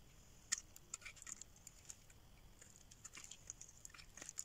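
A solid pink rectangular dry soap bar, held in the hand, is scraped and carved with a metal blade, leaving flakes on its surface. Quick, dry, crisp scratches and clicks sound mostly in the high range over a quiet background, with the sharpest snap near the start.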